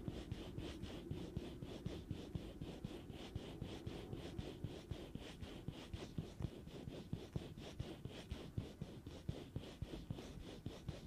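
A black-gloved hand rests on the hollow metal mesh grille on top of a black Blue Yeti USB microphone and scratches and rubs it with the fingertips. The result is a quick, uneven run of soft scratching strokes, about four per second, with a dull, low-heavy rustle and short, bright scrapes that die away at once.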